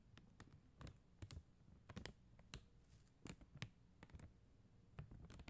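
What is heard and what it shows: Long acrylic nails tap and scratch across a flat sheet of faceted plastic rhinestone gem stickers, making quiet, sharp clicks with brief scratchy strokes. The taps are short and dry with almost no ring, landing unevenly over a soft low background.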